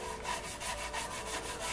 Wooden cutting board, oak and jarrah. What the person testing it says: this causes the grain of the board to swell and stand up which you can hear here